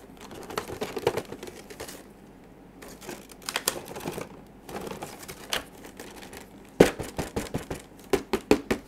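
Black-gloved fingertips tap and handle a small printed cardboard retail box for a PS4 DualShock 4 wireless controller, The Last of Us Part II Limited Edition, hollow with the controller inside. Irregular bursts of short, dry, crisp taps with a hollow mid-range knock and light scuffing rustle, separated by brief quiet pauses. Each tap dies away almost instantly with no ring.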